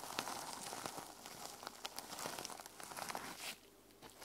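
Long nails scratch the teal plastic sequin cover of a small notebook resting on a wooden table, making a dense, bright crinkling and crackling texture. Sharp clicks and rasps pop out of the rustle, and the sound thins to a quieter hiss near the end.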